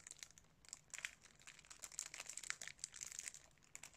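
A sealed DVD case in clear cellophane wrap is held up in both hands while fingertips press and rub the wrap. The result is a quiet, steady run of many small, bright crinkles and crackles, almost all high in pitch with no low end.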